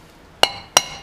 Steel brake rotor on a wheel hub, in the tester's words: if you you tap on it you'll hear it whether it's seated or not